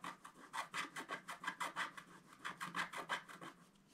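A wooden stylus scratches cloud shapes into a flat, black-coated scratch-art paper sheet with fast, repeated short strokes. About 18 quick, dry rasping scrapes come in an uneven rhythm, each a bright hiss centred around 1.6 kHz that stops almost instantly. They are quiet and close, with almost no low end.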